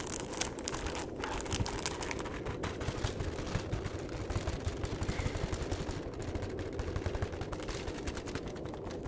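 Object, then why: Flat cardboard chocolate box. Fingertips tap quickly and continuously on the face and edge of a flat cardboard chocolate box. The result is a dense, steady patter of soft, low thuds with a light papery crackle on top and little brightness.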